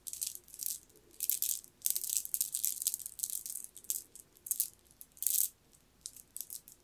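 A strand of solid green jade stone beads is piled in the palm and rolled and shaken by the fingers. The beads rattle and click together in bright, dry bursts with pauses between them. There is almost no low end and no ring after each burst.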